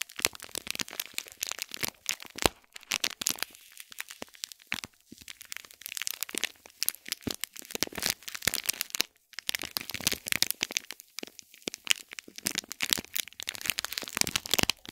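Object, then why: Small gift box wrapped in gold foil and plastic film. A fingernail scratches and taps the crinkly foil of a small gold foil-wrapped cube gift box in plastic film. The result is a dense, steady stream of quiet, sharp crackles and crinkles, bright and high with almost no low end. Each tick dies away instantly, and brief pauses break up the rustling.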